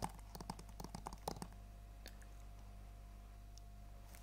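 A hand-sized, hollow plastic PS4 game case for Planet Coaster, still in its cellophane shrink wrap, is held in both hands and tapped and scratched with long acrylic nails. About 13 quick, clicky, typing-like taps come in the first second and a half, with some crinkling of the wrap. A faint scratch follows over a steady low hum.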